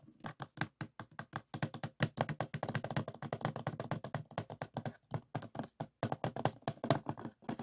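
Fingertips tap rapidly on the plastic surface of a closed DVD case lying on a table, first the back and then the front. The taps are dense, short and dry, with a low hollow knock around 140 Hz and brief high clicky edges. They come in quick bursts with short pauses between them.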